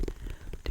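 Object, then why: Pumpkin. Fingers tap four times on the bottom of a white and orange striped Cinderella pumpkin. Each tap is a soft, low, hollow thud that dies away almost at once, with very little brightness.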